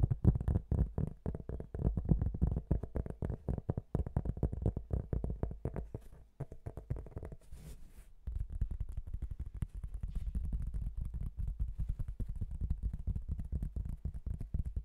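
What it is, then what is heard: Cork tile. A thin, flat marbled cork tile about 30 cm square is held before the microphone and tapped rapidly with fingertips and nails. It gives a dense stream of soft, dry, low-pitched taps with almost no ring. The tapping thins out to a quieter stretch with a brief soft brush near the eighth second, then picks back up in a steady patter.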